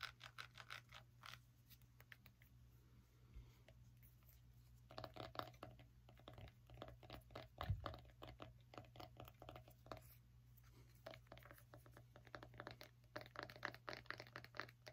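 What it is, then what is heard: Small pumpkin tapped and scratched. Long nails rapidly tap and scratch the rind and stem of a small whole orange pumpkin held close to the mic. The result is a quiet, dense run of dry clicks and scratchy rasps over a steady low hum, with a brief louder knock near the middle.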